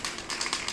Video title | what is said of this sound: What to do if your client doesn't like your sample piece (Fly Fishing Commission Take 2) | if you start shaking it and don't hear that ball bearing, you got a lot of work to do